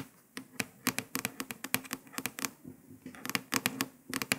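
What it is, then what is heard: Paper sticker on a laptop lid. Several long pointed nails tap and scratch quickly on a printed paper sticker stuck to a grey laptop lid. There are about nineteen sharp, bright clicks with a soft scratchy rasp between them, each dying out almost at once over a quiet background.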